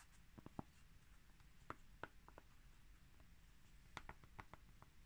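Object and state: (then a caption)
Cork coaster. Two small round solid cork coasters, stacked together and held in the hands, are tapped and scratched across the top cork surface with fingertips and medium-length natural nails, then the stack is lifted up. About a dozen quiet, dry ticks and soft scratches sound over a low, steady background hush, each stopping at once with no ring.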